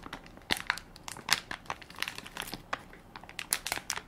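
A full, soft plastic-film baby wipes pack with a plastic lid is held in one hand while fingertips and nails crinkle and scratch its film top. The result is a rapid run of sharp, bright crackles and crinkles with very little low end, each snapping off almost instantly.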